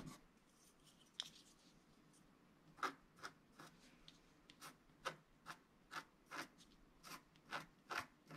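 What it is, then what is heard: Scratch-art card being scratched. A flat coated scratch-art sheet, held flat by one hand, is scratched with a wooden stylus. About fifteen short, dry, rasping strokes come at an uneven pace, roughly two per second. Each is a bright, papery scrape centred around 1.3 kHz that stops almost at once over a quiet background hiss.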